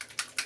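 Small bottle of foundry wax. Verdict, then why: Loose. A bottle of foundry wax is shaken, giving two sharp, bright rattling bursts over a faint hiss, with almost no low end. The audible rattle signals that the contents have loosened and mixed and are ready to use.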